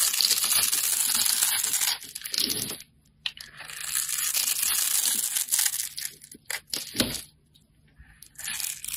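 A metal blade scrapes across a hand-held, solid dark grey soap bar, shaving off pre-cut cubes and curls. It makes a dense, bright, gritty scraping and crumbling sound. The scraping runs in long strokes with brief pauses around the third and eighth seconds, and a few sharper crunches come in between.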